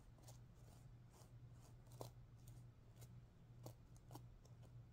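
Long painted nails scratch and flick the pink sequins on a stuffed sequin pillow. Quiet, bright ticks and clicks snap out at irregular moments over a steady low hum, with a few louder flicks standing out.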